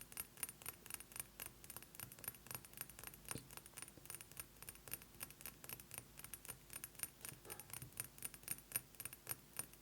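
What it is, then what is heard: Glass perfume bottle. A glass perfume bottle is tapped rapidly with fingernails, producing a quiet stream of about 54 bright, glassy clicks with a jangling quality over roughly ten seconds. The taps come in an uneven, fast rhythm, each dying away almost instantly.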